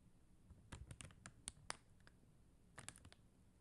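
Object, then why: Acrylic rhinestone sticker sheet. Long teal acrylic nails tap rapidly on a flat sheet of clear and blue faceted plastic rhinestone gem stickers on white paper backing. About eleven quiet, sharp, bright clicks land in a quick cluster, followed by a pause and a few more taps. Each click cuts off almost instantly over a faint low background hum.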